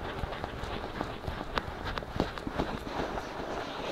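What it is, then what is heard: Silicone microphone ears being scratched. Fingertips scratch and rub both soft silicone ears of a binaural microphone. The result is a steady, low rustling bed broken by irregular, brief scratchy strokes with bright edges, repeating at an uneven pace and dying away quickly.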